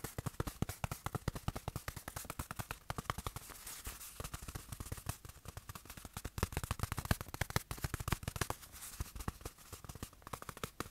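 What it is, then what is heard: Fabric watch cushion. A small padded black fabric watch cushion is tapped rapidly with the fingertips and pressed between the palms. The result is a dense, continuous stream of soft, dull, low thuds with very short decay and faint fabric rustle over about eleven seconds.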